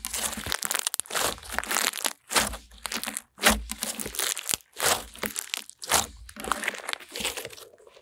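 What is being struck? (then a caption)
Clear glitter slime. Clear glitter slime, translucent, is squeezed and folded in both hands as air pockets are pressed out. It makes bursts of wet crackling, popping and crinkling sounds, bright and broadband, separated by short pauses.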